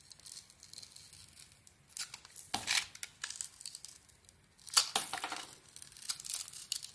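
A utility knife blade scrapes and carves a solid, rectangular, hand-sized bar of soap with a red glitter coating, exposing its white core. Bright, crisp scraping and crackling textures sound like tearing, with louder bursts around the third and fifth seconds. The sound has no low-end weight and almost no ring.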